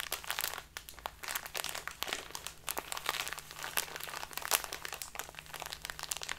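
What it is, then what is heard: Crinkling plastic bag of loose tea. A full plastic bag of dark loose tea is crumpled and crinkled by fingertips with long dark nails. It makes a continuous run of bright, crackly plastic crinkles in dense irregular bursts, over a faint steady low hum.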